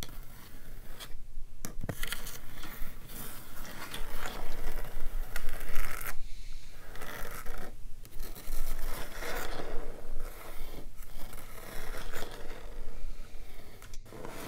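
Fingertips and short nails of both hands scratch and tap a large, flat, solid dark-stained wooden table top, heard through playback. Continuous dry scratching and rubbing with quick tapping textures runs throughout, broken by brief quiet gaps, over a steady low hum.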